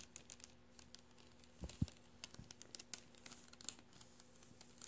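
Fingertips rub and crinkle the surface of a deflated blue metallized mylar star balloon lying flat and creased. Soft, quiet crinkles and bright, sparse ticks are heard over a faint steady low hum. Two louder, dull low thumps stand out near the middle.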